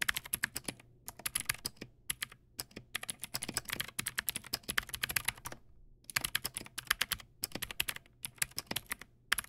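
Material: Plastic.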